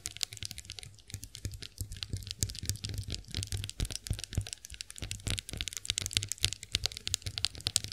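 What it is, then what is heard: Chrome face roller tapped and scratched with nails. Long nails tap and scratch the ridged heads of a chrome-finished face roller. The result is a dense run of quick, bright clicks and scraping ticks with almost no ring, over a faint low hum.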